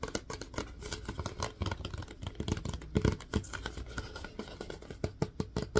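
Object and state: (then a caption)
Plastic disinfecting wipes canister. Fingertips tap rapidly and irregularly on the lid and sides of a plastic disinfecting wipes canister. The taps are short, dull and hollow, with most of their weight in the low end and a faint tone around 426 Hz. Some taps land harder than others, and each dies away almost at once.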